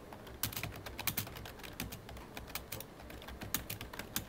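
Fingertips of both hands type on the keys of a full-size black plastic computer keyboard with a hollow body. The result is a quick, uneven run of bright, clicky key taps over a soft low thump, each tap dying away almost instantly.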